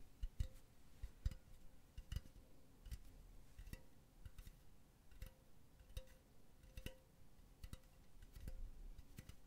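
A hollow, empty silver metal mesh pen holder with a solid metal base is tapped on its mesh and rim with long nails. The result is a quiet, irregular run of short, dry ticks with a faint bright metallic edge and a brief low thud under each, with almost no ring.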